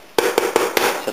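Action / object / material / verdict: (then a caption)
tap / bread loaf bottom crust / bread crust / hollow. The bottom crust of a country bread loaf, turned over on a tray to cool, is tapped five times, giving short, hollow knocks with a mid-pitched tone around 470 Hz and little ring. The hollow sound shows the loaf is baked through with a good crust.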